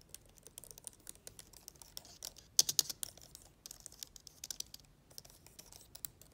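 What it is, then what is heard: Plastic laptop keyboard being typed on. Long nails on a hand wearing a ring type and tap across the red-backlit keys of an open HP laptop's black plastic keyboard, then touch the plastic hinge area above it. Quiet, rapid, bright plastic clicks and taps patter throughout, with a louder cluster of sharp clacks in the middle, each dying away almost instantly.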